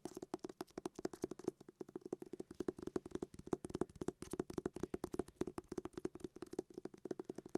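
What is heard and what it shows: A hardback book is tapped in rapid, uneven bursts, giving soft, dull thuds with a hollow tone around 360 Hz and almost no ring. The taps come in quick clusters throughout.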